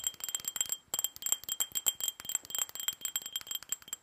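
A small hollow glass tumbler with red glitter on the outside, held in both hands, is tapped quickly with long fingernails. The result is rapid, uneven, bright clinking glass taps with very short ring and a steady high tone above them, paused briefly about a second in.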